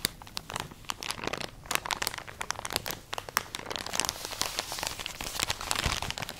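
A full plastic drawstring package of cotton pads is crinkled and scratched with long nails. Dense, bright crinkling and scratching is heard throughout, with many sharp, quick crackles and clicks that die away almost instantly.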